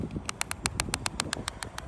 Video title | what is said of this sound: Shrunken Moldings Are Destroying RV Roofs—Here's Why | Hear how I'm tapping on that. And you can hear that noise. That's my tattletail that it's loose.